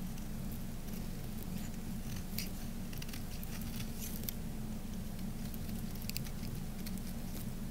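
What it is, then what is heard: Dry bar soap being shaved. A knife blade shaves thin flakes off a dry, solid peach-orange Camay bar soap that has been carved flat and is held in the hand. Soft, crisp scraping and patter-like shaving sounds repeat irregularly, with brief bright flicks over a steady low rumble.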